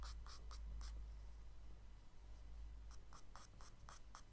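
A charcoal stick makes short scratching strokes near the lower right of a spiral kraft paper sketchbook page while the other hand holds the pad still. Bright, dry scratches come in quick bursts, with a quiet pause in the middle, over a steady low hum.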